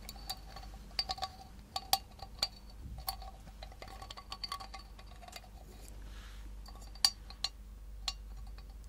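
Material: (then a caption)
Tin. A miniature galvanized tin milk can with a wire handle and small wooden grip, hollow and apparently empty, is tapped and scratched with long nails. Bright, short metallic clinks and pings ring out over soft scratching, with a brief hiss-like scrape in the middle.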